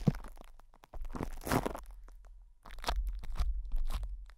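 Fingertips of both hands rub and scratch crinkly plastic cling film wrapped over the hollow metal mesh grille of a microphone head. The result is bursts of close, crunchy crinkling and scratching with a heavy, boomy low rumble underneath, separated by short quiet gaps.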